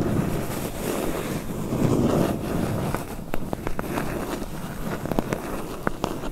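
Long pointed nails scratch and tap the lower front edge and sides of a medium, closed, hollow corrugated cardboard box. A soft, low, rustling scratch fills the first half, then short, dry, hollow taps ring out, each one stopping almost instantly.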